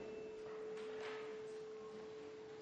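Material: Nothing is struck.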